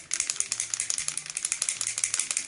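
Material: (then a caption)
Metal. An aerosol spray foundation can is shaken hard before use, and the mixing ball inside it rattles in a rapid series of sharp, bright clicks. The sound is concentrated in the high frequencies. The ball is there to mix the foundation.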